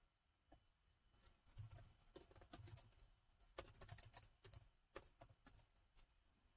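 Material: Plastic.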